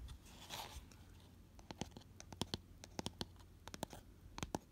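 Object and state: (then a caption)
Empty cardboard box scratched. Fingernails scratch the flat inner base of an empty, hollow, round cardboard gift box with a white paper lining, held on its side. A soft, brushing scrape opens the clip, followed by irregular, short, dry scratches and crisp ticks that reach bright highs over a low, hollow rumble. Each sound stops almost instantly.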